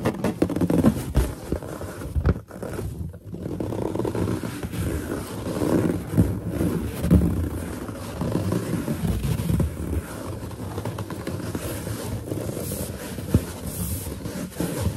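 Long nails tap and scratch across the surface of a large, hollow, inflated white latex balloon with its knot visible. The sound is a steady stream of dull, low, muffled thumps and rubbing scrapes with little high-end brightness.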